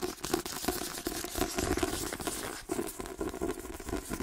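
Fingernails rapidly tap a white paperback book with a glossy card cover, moving across the cover, the spine and the page-edge block. The result is a quick, continuous run of dry, papery clicks with a hollow mid-range knock and a faint crinkly rustle between taps.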